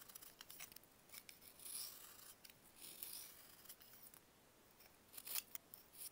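A metal knife carves layered slices off a small, solid pressed baking soda block held in bare fingers. The result is a string of quiet, crisp, bright scrapes and crumbly rasps, each dying away almost at once, with a louder cluster of cuts near the end.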